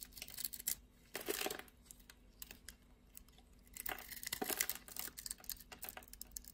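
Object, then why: Bar of soap cut with a blade. A utility blade scrapes and carves flakes off a solid blue and white striped bar of soap held in the hand. Quiet, bright, dry scraping and crinkling comes in short bursts, with two longer carving strokes standing out among smaller flicks.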